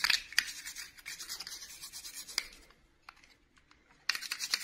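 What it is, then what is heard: Plastic doll dress scrubbed with toothbrush. A small, hollow, blue glittery plastic clip-on dress from a miniature princess doll is held in one hand and scrubbed with the bristles of a red plastic toothbrush. The rubbing makes dense, bright, scratchy bristle noise with sharp clicks. It fades to faint scattered ticks near the middle, then bursts back into loud scrubbing at the end.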